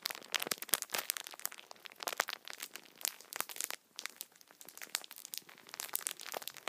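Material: Plastic film.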